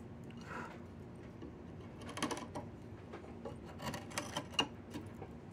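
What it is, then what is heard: Diamond willow branch being carved. A wide chisel scrapes and carves the surface of a solid diamond willow branch being made into a walking stick. Soft, dry scraping runs under short, bright rasping strokes and sharp little clicks as the blade bites into the wood.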